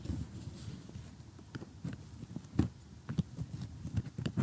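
Metal tweezers poke and pick at loose pieces in the blue sky section of a glossy cardboard jigsaw puzzle while fingernails rest on and tap it. Soft, dull, low taps and light clicks come in an uneven patter, each dying away almost at once, with faint bright ticks on top.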